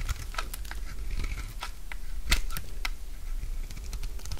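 A utility knife blade shaves thick curls from a solid, dry orange bar of soap held in the palm. Short, crisp scraping and crunching cuts repeat over a steady low rumble, with sharp bright clicks as the blade catches.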